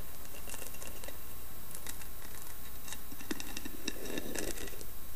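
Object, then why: Carved wooden box with lid. Long painted nails tap and scratch the carved lid of a round, hollow, carved wooden lidded box. Soft, quick clicks and dry scratching patter sit over a steady low hum, with slightly fuller, lower-toned taps near the end.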